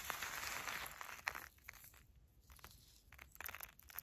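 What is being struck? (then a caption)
Uncooked long-grain rice on a paper filter. A hand with long nails grabs, presses and rubs a pile of dry, uncooked long-grain rice resting on a paper filter. A dense, bright, crinkly rustle fills the first second and a half, then thins into quieter, scattered crisp ticks and small crunches as the grains shift.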